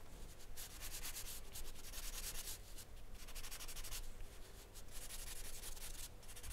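An orange wooden pastel pencil rubs and scratches short strokes across a flat sheet of white drawing paper covered in charcoal, resting on a wooden desk. Bright, dry, rasping scratches come in rapid bursts with brief pauses between them, over a steady low hum.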